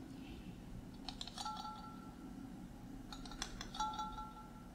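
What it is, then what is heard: Glass jar with metal lid. Fingertips and nails tap and scratch the silver metal screw lid of a hand-sized clear glass mason jar, partly filled with water and held in the other hand. Two short bursts of light, bright clicks and scrapes each leave a faint, sustained ringing tone. A low, steady background hum runs underneath.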